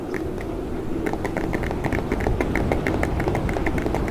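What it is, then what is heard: Plastic blister pack. Fingernails of both hands tap and scratch quickly on the front of a handheld-size clear hard plastic clamshell package holding a red portable speaker, with a Mickey Mouse print on the card. The result is a fast, irregular stream of bright plastic clicks and ticks over a low, steady rumble, growing slightly louder after the first second.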